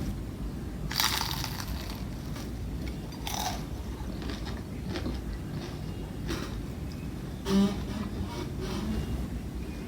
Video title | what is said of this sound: اشمعنا انا؟؟ الترند وصل خلاص (مستحيل تكونو شوفتوا الطريقه دي قبل كده ) | قربوا بس اسمعوا صوت القرمشة